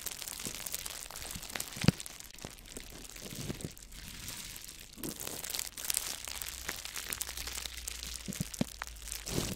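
A sheet of clear plastic bubble wrap with hollow air-filled bubbles, folded around the top of a microphone, is pressed and squeezed by fingertips. A steady close crinkling runs throughout, punctuated by scattered sharp pops and crackles as bubbles burst, with one louder snap near the start.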